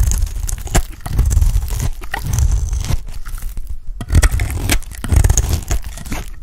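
An oval, solid, dry orange soap bar held in hand is shaved into curls with a utility blade. Repeated crunchy, scraping strokes carry a heavy low rumble with a faint bright crackle along each cut.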